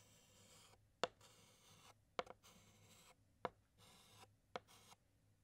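A white chalk stick draws dots and a pattern inside the letter l on a large flat black chalkboard. Five sharp, quick taps are heard, separated by bright, raspy scratching strokes, with a faint low hum underneath.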